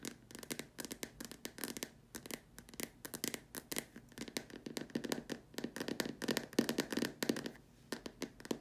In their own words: This video includes me tapping on a plastic lamp shade.